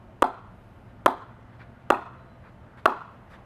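A grade 2 Kookaburra Pace willow cricket bat with a flat face is knocked four times with a brand new ball for a ping test. Each knock gives a sharp, short crack centred around 1 kHz with a quick decay and a faint bright edge. The bat pings well and sounds really nice.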